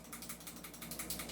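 A non-upgraded 2011 airsoft pistol is shaken, and its loose barrel rattles with a quick series of bright, dry clicks. Unlike an upgraded 2011 with a fixed outer barrel that does not wobble, this barrel is loose and moving.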